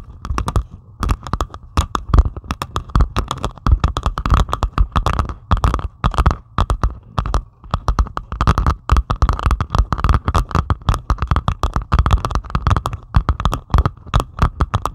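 Long pointed acrylic nails scratch rapidly across the beaded surface of a flat diamond painting made of plastic resin drills on canvas. The result is a dense, continuous stream of short, dry scratchy clicks and rasps, heavy in the low end with a steady mid-range band near 1.2 kHz. The scratching pauses briefly around the 6 and 7.5 second marks.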